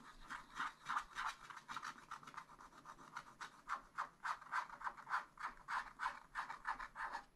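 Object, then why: Wax-coated scratch-art paper scratched with a wooden stylus. A wooden stylus scratches across a black wax-coated scratch-art sheet in a spiral-bound pad. It makes quick, fairly steady rasping strokes, about three per second, with a dry, bright scrape centered in the midrange and almost no low end.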